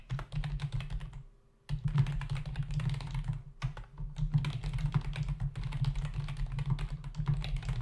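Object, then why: Plastic membrane computer keyboard. Fingertips of both hands type rapidly on a full-size black plastic membrane keyboard with hollow keys resting on a dark desk. Dense clusters of quick, hollow plastic clicks and taps run almost throughout, with one brief pause near the start, over a steady low hum.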